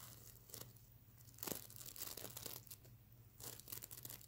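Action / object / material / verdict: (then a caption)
scrape / plush pillow covered in plastic sequins / plastic sequins / none. Fingernails scratch and flip the iridescent plastic sequins on a soft stuffed mermaid unicorn plush pillow. This makes quiet bursts of crisp, bright, scratchy rustling and crinkling over a steady low hum.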